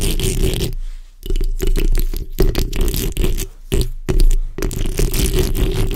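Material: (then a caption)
Metal mesh. The backs of long acrylic nails on both hands scratch across the hollow metal mesh head of a black condenser microphone. The result is dense, rapid scraping bursts with a heavy, boomy low rumble and a steady hum underneath, broken by brief pauses near one and four seconds.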